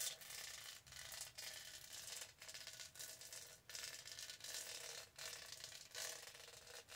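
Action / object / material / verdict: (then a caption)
scrape / studded hollow plastic tumbler / plastic / none. Long nails rub and scratch the studded sides of a purple studded hollow plastic tumbler. The sound is a bright, dense, crackling scrape that runs in bursts separated by brief pauses.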